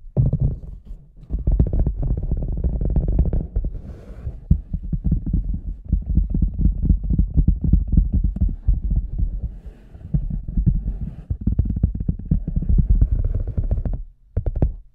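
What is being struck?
Large rubber boot.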